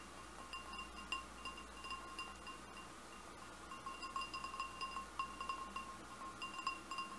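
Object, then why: Glass goblet. Fingernails tap the bowl of a large, hollow, empty red glass goblet, making it ring. A quiet series of light clinks follows, each giving a short, clear chime with a steady tone near 1 kHz and a bright overtone above it.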